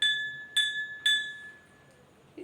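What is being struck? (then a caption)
Steel bowl holding water. A steel bowl with water poured into it is struck three times, each strike giving a bright, clear ringing tone that fades over about half a second. Its tone differs from when the bowl was empty, showing that the pitch changes with the amount of water.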